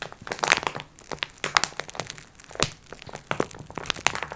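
Long red nails scratch and tap a flat "Multi Pack x4" package wrapped in crinkly plastic film. The result is a bright, dry crinkling and crackling made of many quick overlapping taps and scrapes, with little low end and almost no ring.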